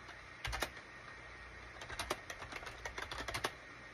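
Slow fingertip typing with both hands on a gray SHIPADOO K600 full-size wired USB keyboard with a gray plastic case and cream, gray and orange plastic keycaps. A brief burst of taps is followed by a pause, then a longer run of short, bright plastic clicks that die away almost instantly over a quiet, steady background.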